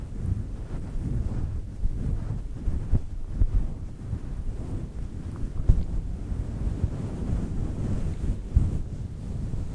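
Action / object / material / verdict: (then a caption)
scrape / synthetic fur microphone windscreen / synthetic fur / none. Long nails scratch the top of a round, fluffy faux fur microphone windscreen. The result is a continuous, deep, muffled rustling and rumbling, with almost all the energy in the low end and nothing bright above it.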